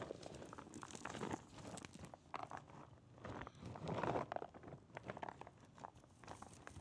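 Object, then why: Small cardboard box sealed in plastic shrink wrap. A small Super Metroid puzzle box made of cardboard and sealed in plastic shrink wrap is held up and tilted while fingertips tap on it. Quiet, close crinkling taps and soft rustles of the plastic wrap come in uneven clusters throughout.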